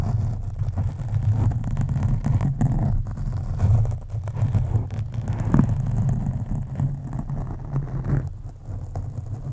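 A black foam windscreen on a microphone is scratched with the long acrylic nails of both hands. The scratching produces a steady, deep, muffled rumble with dense low scraping, nearly all of it below 200 Hz, and a few brief louder swells.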